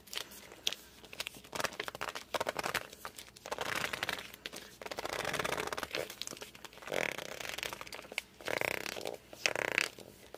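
Hands grip and slide across the cover of a glossy hardcover book. The result is a series of bright, squeaky rubbing and friction bursts, with sharp squeaks near 2.3 kHz and short quiet pauses between strokes. No speech is heard.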